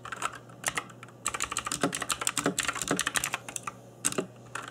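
Fingertips in black nitrile gloves type on a cheap RGB-backlit mechanical keyboard with plastic keycaps. Bright, sharp clacks come in quick irregular bursts, each dying away almost instantly, with a brief lull before a denser run of typing. A faint steady low hum sits underneath.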